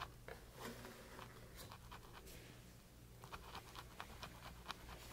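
A flat paintbrush with a metal ferrule is pressed and scrubbed across a textured flat canvas panel coated in wet green paint. Soft, dry bristle scratches and short bright swishing strokes are heard over a steady low hum. The strokes grow slightly sharper and more distinct toward the end.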